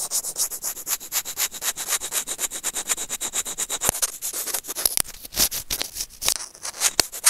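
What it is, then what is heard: Plastic earphone mic remote scratched with tweezers. Curved steel tweezers scratch and rub along the surface of a small, hollow white plastic earphone microphone remote held in the fingers. The result is a rapid, steady series of dry, bright scratching strokes with almost no low end. A few sharper clicks stand out toward the end.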